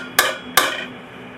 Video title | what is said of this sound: Basic armouring-planishing | What the dull sound tells you is either you've got a high spot that you have to knock down or you're not rested properly against the stump.